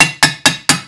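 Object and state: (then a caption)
Fully seated crank bearing. A hammer taps a steel roller main crank bearing into a Beta engine crankcase, working evenly around it. Four sharp, bright metallic "ting" taps ring briefly with little low end. The ringing tone shows the bearing is fully seated.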